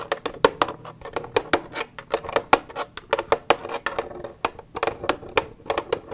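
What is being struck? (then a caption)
Plastic milk jug. Long red nails tap and scratch the side of an empty, hollow white plastic milk jug with a green cap, resting on a wooden table. Quick, dry taps come in an uneven, rapid stream, each with a hollow plastic knock centered around 450 Hz and a bright clicky edge that dies away almost instantly. Soft scratching fills the gaps between the taps.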